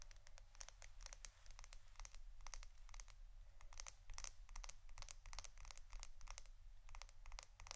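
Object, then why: Plastic adhesive tape roll. A roll of plastic adhesive tape is tapped and scratched for ASMR. Quick, bright clicking taps and scratchy strokes come in dense clusters over a steady low hum. The result is a continuous crisp, crackly texture.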